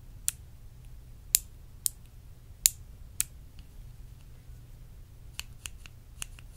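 Long acrylic nails tap and scratch a small, clear, faceted glass perfume bottle held in the hand. Five sharp, bright, high-pitched clicks ring out at uneven intervals, followed by a few softer taps over a quiet, low hum.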